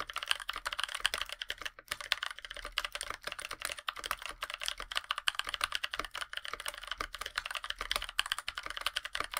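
Both hands type steadily with the fingertips on a NovelKeys NK65 Aluminum, a 65% mechanical keyboard with a black aluminum case, white PBT plastic keycaps and Blueberries switches. The result is a fast, continuous stream of short, crisp key clacks that die away almost instantly. The sound is bright, centred around 3 kHz, with almost no low end.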